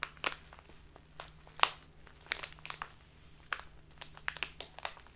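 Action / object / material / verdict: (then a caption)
scrape / clear plastic bag of loose tea / plastic / none. A full, crinkly clear plastic Biotta tea bag of loose tea is squeezed in both hands with the fingertips, then tilted sideways while being crinkled. Sharp, bright crinkles and crackles come in short, quick bursts that die away almost at once, over a faint low hum.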